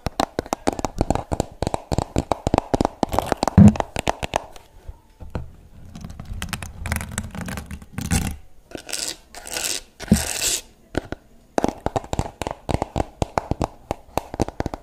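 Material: Plastic.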